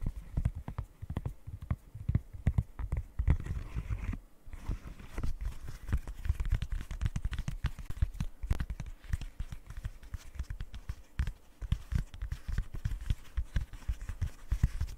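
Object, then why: Silicone pop-it fidget toy. Long nails tap fast across the hollow bubbles of a rainbow silicone pop-it fidget toy. The result is a rapid, uneven stream of short, dull, low thuds that stop dead with no ring, like soft hoof clops. A brief pause breaks the run near the four-second mark.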